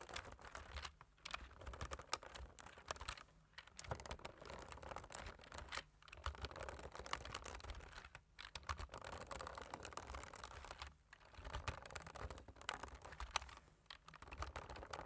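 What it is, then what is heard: Plastic computer keyboard being typed on. A black plastic computer keyboard is typed on rapidly with both hands, the fingertips tapping the keys. Dense, quiet clicking and clacking runs in bursts, broken by brief pauses every couple of seconds.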